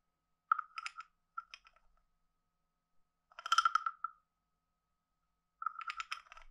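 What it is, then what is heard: Wooden frog guiro being scraped. A wooden stick is scraped along the ridged back of a hand-sized, hollow, carved wooden frog guiro. Four quiet bursts of rapid, dry ratcheting clicks carry a hollow, woody tone around 1.3 kHz with bright edges. Each burst stops short, with almost no ring, and silence falls between the strokes.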